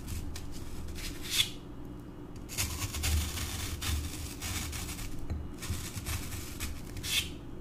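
A thin metal pointed tool held in the fingers repeatedly pokes into solid green floral foam blocks, leaving small holes. Each poke gives a soft, dry, crunchy scratch with a bright hiss, over a steady low rumble.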